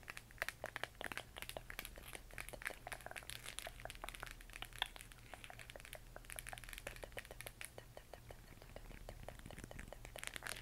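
Fingernails scratch and tap the textured surface of a hollow plastic LED moon lamp glowing green. The result is a dense stream of quick, dry, crinkly clicks and scratches, bright and centered around 3.4 kHz, with almost no ring. A steady low hum sits underneath throughout.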